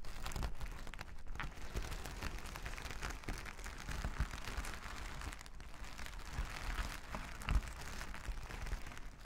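A flat sheet of reversible plastic sequin fabric lying on a table is rubbed and scratched with plastic finger-massager tools worn on both hands. The result is a steady, dense crinkling and scraping texture, full of tiny clicking sequin ticks over a heavy low-end rumble, with a few slightly louder scratches along the way.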